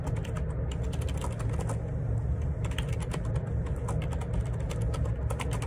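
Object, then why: Plastic split ergonomic keyboard. Fingertips type steadily on a black plastic Perixx Periboard 612 wireless Bluetooth split ergonomic keyboard, with a hollow housing and plastic keycaps, resting on a desk. Rapid, overlapping key presses make short, muted clicks and taps over a continuous low rumble that dominates the sound.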